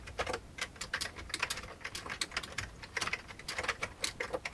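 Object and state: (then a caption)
Old plastic computer keyboard. Both hands type with their fingertips on an old beige plastic computer keyboard. A quick, uneven run of bright, dry plastic key clicks follows, each ending at once, with very little low-end body.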